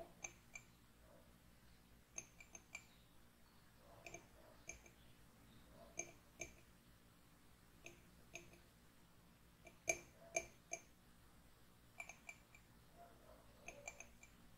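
Fingernails tap and scratch inside the rim of an empty white ceramic mug lying on its side on a wooden table. About 21 sharp, bright clicks with a brief ring near 2.3 kHz come at an irregular pace over a faint, steady low hum, with soft scratching between taps.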